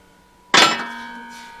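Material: Steel.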